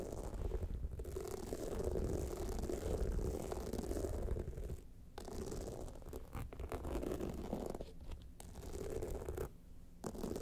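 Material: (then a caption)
Rhinestones. Long nails of both hands scratch the rhinestone-covered sides of a small, hollow, pyramid-shaped clutch bag standing upright with a jeweled clasp. The result is a dense, rapid, gritty scratching with a heavy low rumble and little high-end brightness. It breaks off briefly around 5, 8 and 10 seconds.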